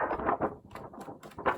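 A sheet of stiff coloured card, not paper, is shaken to show which material to use, giving a series of quick, crisp rattling flaps. Its stiffer rattle tells it apart from paper.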